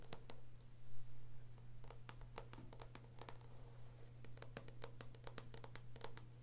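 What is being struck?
Paperback book with glossy card cover.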